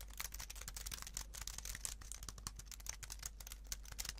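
A slim white plastic computer keyboard is held up in both hands while fingertips rapidly press and tap its keys. The result is a quiet, dense stream of sharp, bright typing clicks over a steady low hum.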